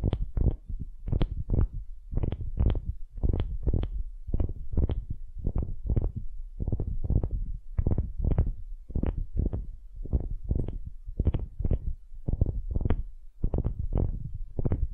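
Long nails scratch the end grain face of a solid, light wooden cube in a steady run of short, rasping strokes. Each stroke is a quick burst heavy in low rumble with a brief bright edge. The strokes follow one another with little gap between them.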